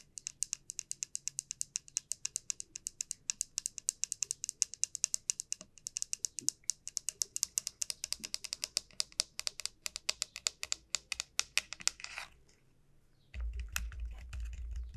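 Long nails tap quickly and steadily on the hard, hollow shell of a large, elongated dried bottle gourd, making a dense run of sharp, bright clicks. The tapping stops after about 12 seconds. After a brief quiet, a low, rumbling sound takes over until the end.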